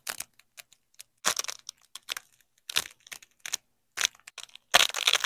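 Black-gloved fingers pull a yellow nylon hook strip and a black nylon loop strip of hook-and-loop fastener (Velcro) apart and press them back together. The result is a series of short, crunchy, bright ripping and peeling bursts with quiet gaps between them, and the loudest rip comes at the end.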